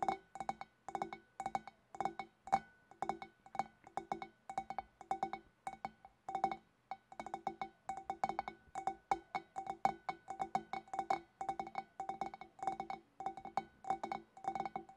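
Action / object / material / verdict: tap / glass fish bowl / glass / none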